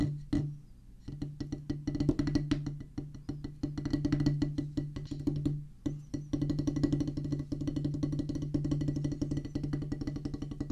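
Two wooden drumsticks drum rapidly near the center of a solid oval practice pad with a black rubber top on a pressboard/wood base. Dense streams of short, dry, woody taps with a low, slightly pitched thump run in fast bursts, broken by brief pauses near the start and around the six-second mark.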